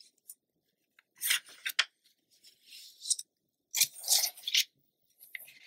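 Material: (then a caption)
Paper. Hands with long nails turn a thin page of an open glossy paper magazine lying flat, then rub and smooth the spread. Crisp, bright paper rustles and swishes come in uneven bursts, with soft, quieter rubbing between them.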